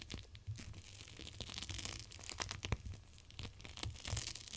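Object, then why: Plastic gel-bead cold pack. A palm-sized clear plastic gel cold pack full of teal beads is held with long nails and pressed and rubbed against glass. It gives a quiet, continuous run of bright crinkling and crackling with sharp little snaps over a low, soft rumble.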